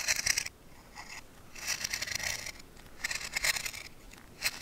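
A steel knife blade cuts and scrapes strips of green bark and wood from a solid, fresh branch held in the hand while carving a honey spoon, with chips falling onto the bench. Bright, dry scraping strokes come in several short bursts separated by quieter gaps, each pass rasping high and crisp with almost no low end.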